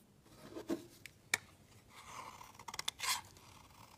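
A utility knife blade scrapes the edge of a solid white rectangular soap bar into fine shavings, with another soap bar lying untouched nearby. Quiet, bright rasping strokes are broken by several short, crisp scrapes and ticks, the loudest a sharp snap partway through and a dense cluster near the end.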